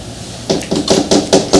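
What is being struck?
Painting on wooden board.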